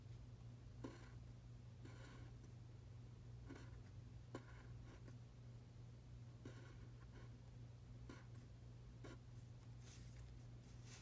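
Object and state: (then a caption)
Paper worksheet being written on. A pen tip scratches across a thin printed paper practice sheet lying flat on a dark table in continuous writing strokes, as if forming Chinese characters. Short bursts of soft, bright scratching come and go over a steady low hum around 117 Hz, and the whole clip stays quiet.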